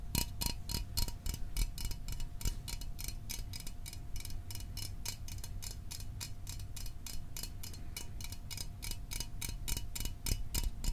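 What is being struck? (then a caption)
Small aluminium soda can. A small, hollow metal Fanta orange soda can held in the hands is tapped quickly with fingertips and fingernails. The result is a stream of short, bright, clicky taps over a steady low rumble, with a faint constant tone running underneath.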